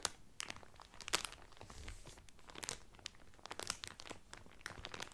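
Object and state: Cellophane wrapper crinkled over a folded towel.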